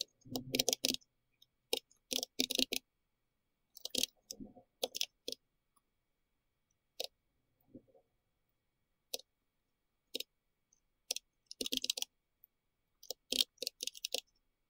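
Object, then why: Plastic mechanical keyboard with round keycaps. Both hands tap with their fingertips on a pink-red compact plastic mechanical keyboard with round plastic keycaps. Short bursts of bright, sharp clicks come in uneven clusters, separated by pauses of near silence. Each click stops almost instantly, with no ringing.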